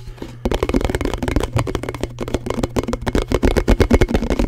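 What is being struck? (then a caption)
Thin plastic canister lid. A thin, hollow, round blue plastic canister lid is held close to the mic and tapped and scratched fast with fingertips and nails. After a brief quieter start, a dense run of quick, dull, short-ringing taps with scratchy edges follows, growing louder toward the end over a steady low hum.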